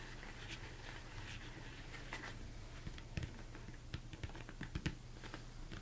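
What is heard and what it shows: Fast fingertips tap on top of a large, hollow, empty mixing bowl, likely plastic, turned upside down. The quiet taps make dull, low, hollow thumps with light, bright clicky edges. Each one dies away almost at once, in a steady patter that brings a few sharper knocks in the second half.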